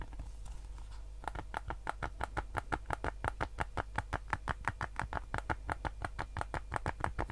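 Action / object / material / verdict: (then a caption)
tap / hard plastic game controller shell / plastic / none. Fingertips tap and scratch the hollow, hard plastic shell of a white PS5 DualSense controller held in both hands. After a second of soft scratching, a quick, fairly steady run of short, dry plastic taps begins, about three per second, each a bright click that dies away almost instantly over a low background hum.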